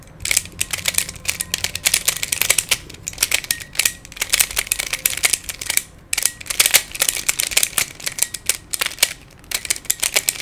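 Fingertips twist the layers of a hand-sized black plastic Pyraminx, a pyramid twisty puzzle with coloured stickers and a hollow mechanism. Rapid, bright plastic clicks come in dense bursts separated by brief pauses, each click dying away almost instantly with very little low end.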